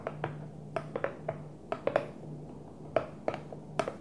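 A Tupperware plastic food container is gently tapped with about fourteen light, irregular taps. Each tap is short, with a hollow knock around 650 Hz that dies away almost at once, over a faint steady low hum.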